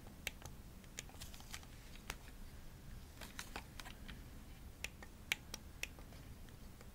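Long nails tap the triggers and shell of a hollow pink plastic Xbox controller, shown from its top edge. Quiet, sharp, bright clicks sound at an uneven pace over a low background rumble, each dying away almost at once.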